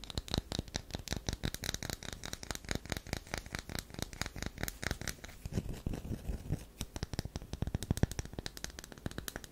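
Long nails scratch repeatedly at a solid tan DURU bar soap held in the palm, making a rapid run of short, dry scraping strokes. Each stroke has a soft low thump under a bright, crackly rasp.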